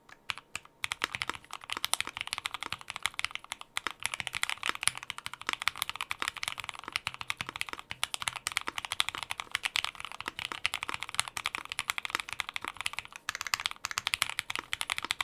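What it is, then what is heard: Mechanical keyboard with plastic keycaps. Two hands type steadily with their fingertips on a white 60% Prophet mechanical keyboard with Gateron Inks Black V2 switches, plastic keycaps and a polypropylene plate. The result is a dense, continuous run of short, crisp clacks that are bright and high, with almost no low end and very quick decay.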